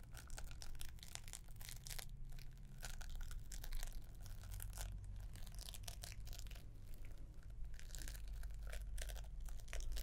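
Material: Wrapping paper.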